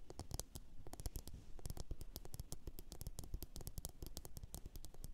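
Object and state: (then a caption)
Ceramic bowl tapped with fingernails. Long orange nails rapidly tap and scratch a glossy blue ceramic bowl turned upside down and hollow. The result is a dense, quiet run of short, sharp clicks with a low, hollow thump beneath them and a faint scratchy texture between the taps.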